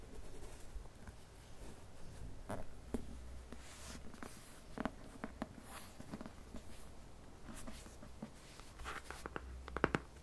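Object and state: Cardboard book slipcase.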